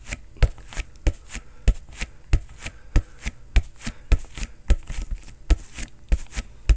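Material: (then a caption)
Synthetic leather. A green inflated soccer ball with a synthetic leather cover is struck rapidly with a fist, giving 16 short, deep thumps in an uneven rhythm. Each blow has a low, boomy body with a bright slap on top and dies away almost instantly.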